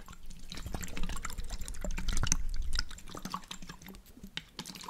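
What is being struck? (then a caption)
Glass jar with water. A glass jar holding water, with a blue checkered lid, is turned and shaken while fingernails tap on the glass and the lid. Water sloshes and drips inside beneath irregular, bright clicking taps. A low rumble swells in the middle and then eases off.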